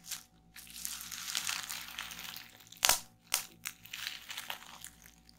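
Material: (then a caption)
Plastic. Fingertips with long nails press, pinch and pop the bubbles on a sheet of clear plastic bubble wrap lying on a table. Steady bright crinkling and rustling of the plastic is broken by a few sharp, loud pops near the middle of the clip, each dying away almost instantly.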